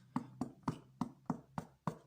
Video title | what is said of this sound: recette boule de pain | Pour vérifier si votre pain il est cuit, il faut taper à l'arrière. Et si ça sonne creux à peu près comme ça, c'est qu'il est cuit.